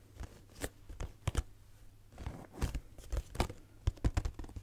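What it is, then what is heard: Cardboard tissue box. Fingernails tap on the sides and top of a hollow pink cardboard Kleenex cube box with its Kleenex label on top. They make quick, dry, irregular taps, each a soft hollow low thump with a crisp papery click that dies away almost at once. The taps are quiet and close, with short pauses between them.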